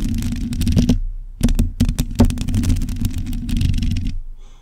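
Long pointed acrylic nails of both hands scratch a black metal mesh microphone grille. The result is a dense run of rapid, rough scratching taps with a heavy low rumble and brief bright clicks, stopping for a moment before it resumes and fades out.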